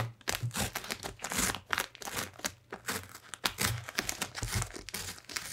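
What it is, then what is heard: Cardboard box scratched. A purple-gloved hand rubs and scratches its fingertips across the lid of a large, closed, hollow corrugated cardboard shipping box. Many quick, crinkly scrapes overlap in an uneven rhythm, with bright, hissy texture and soft low thumps from the hollow box.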